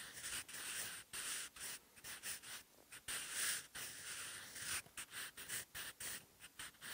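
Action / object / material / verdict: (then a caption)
scrape / graphite pencil on textured notebook paper / paper / none. A wooden graphite pencil writes Korean characters on textured, ruled notebook paper in a bound notebook. Its tip makes soft, bright, scratchy strokes that come in short bursts with brief pauses between them. The sound is quiet, papery and hiss-like, with almost no low end.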